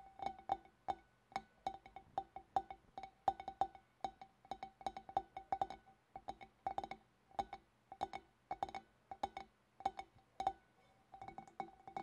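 Fingernails tap continuously on a glass fish bowl, making quick, bright clinks with a steady pitch near 780 Hz. The taps come in irregular bursts and clusters, and each one dies away almost at once.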